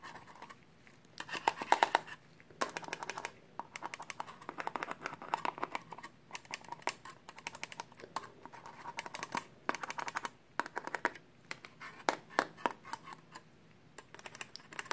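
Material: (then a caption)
Sheet metal. A small perforated sheet-metal laptop hard drive bracket with a hollow frame, held in a gloved hand, is tapped with a pen tip. Quick bursts of light, dry metallic ticks and scratchy clicks come and go, pitched around 920 Hz with a touch of brightness. Each tap dies away almost at once, and quiet pauses fall between the clusters.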